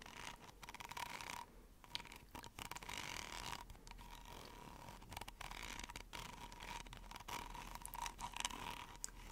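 A hollow yellow corrugated plastic pop tube toy, about 20 cm long, has its ridges scratched and rubbed with long nails while held just above a fluffy microphone. The result is a continuous bright, rasping scrape with rapid ticking over the ridges and a steady tone near 970 Hz. Brief quieter gaps break it up between strokes.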